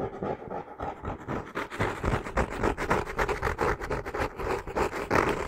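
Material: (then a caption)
Cork. Long nails scratch the brown cork-textured cover of a solid hardcover notebook held in both hands. Quick, uneven bursts of dry, gritty rasping repeat for several seconds, with a hollow low-mid body.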